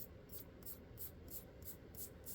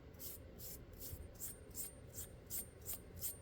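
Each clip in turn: First: finished steel pistol rubbed, duller tone than stainless. Second: stainless steel pistol slide, metallic ring when rubbed.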